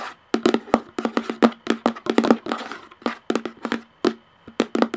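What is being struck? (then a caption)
Plastic jar lid. Long nails tap the top of the hollow plastic lid on a clear plastic jar in a quick, uneven run of sharp clicks. Each tap carries a short hollow knock pitched around 240 Hz under a bright, crisp attack. The sound dies away almost instantly between taps.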